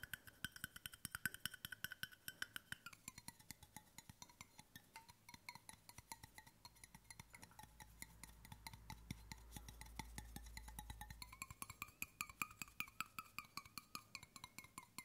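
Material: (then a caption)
Stainless steel. A large, hollow, brushed stainless steel water bottle is tapped quickly with fingertips and short nails on its bottom and side. The result is a steady stream of short, dry clicks over a faint metallic ring around 1.5 kHz whose pitch shifts as the tapping moves. A low rumble swells briefly near the middle.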